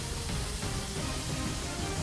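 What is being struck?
Nothing is struck.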